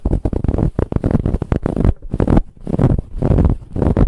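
Long acrylic nails scratch quickly and firmly across a large, soft pillow covered in brown striped ribbed fabric. The scratching comes in dense, muffled bursts with mostly low, rumbling texture, broken by a brief quiet pause near the middle.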